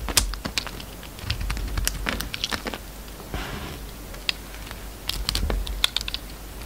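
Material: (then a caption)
Soap. A metal utility knife blade carves chunks and curls from a solid peach bar of soap held in the hand. Quick, dry, bright clicks and crisp snaps come in irregular bursts, with a short soft scraping shave in the middle. A low background rumble sits underneath.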